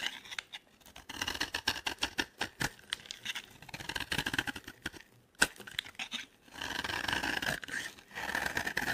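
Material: Soap.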